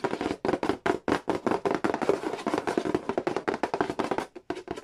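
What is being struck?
Cardboard board game box.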